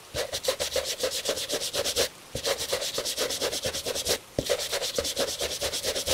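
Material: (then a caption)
Leather. A bristle shoe brush held in a gloved hand vigorously brushes a hollow, tan, high-quality Italian leather dress shoe. About 22 quick, bright, hissy scrubbing strokes with a scratchy midrange tone come in three rapid bursts, separated by two brief pauses.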